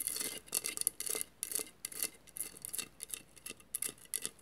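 Long matte nails scratch along the tile edges of a hollow vase covered in mirrored glass mosaic tiles. Quiet, bright, crisp rasping strokes come in irregular bursts, with almost no low end and no ringing after each scrape.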